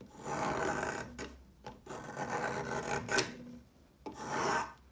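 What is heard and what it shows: A solid pale yellow chalk stick, held by fingertips, is shaved with the metal blade of a yellow peeler in repeated scraping strokes. Each stroke gives a dry, gritty rasp spread from the low mids into bright highs, with short pauses between passes.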